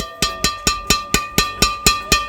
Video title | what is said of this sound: TERBAIK dari yang TERBAIK! Highend Made In JAPAN... Review Raket Yonex Nanoflare 800 Pro | hitting sound yang dihasilkan lebih panjang ing-nya